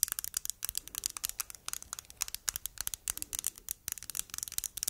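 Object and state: Plastic tomato-shaped cosmetic jar.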